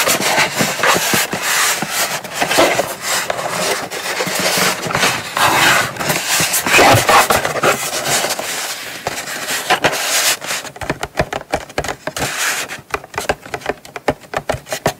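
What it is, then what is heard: Cardboard box scratched and tapped. Long nails scratch and tap the sides and lid of a small, hollow brown kraft cardboard gift box as it is turned and held. A dense, bright rasping scratch fills the first ten seconds, then gives way to quicker, separate dry taps with short, papery rings.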